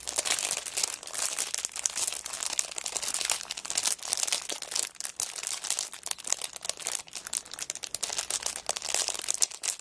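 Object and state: Cellophane-wrapped kraft paper notebook.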